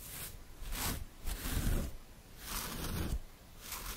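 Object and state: Nothing is struck.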